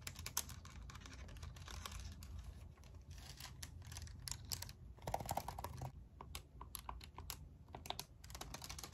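Long acrylic nails tap rapidly on the keys and hollow casing of a pink and white handheld plastic graphing calculator held in the hand. A quick, irregular run of sharp, bright plastic clicks plays over a soft low rumble. A slightly hollow tone near 780 Hz comes through around the middle.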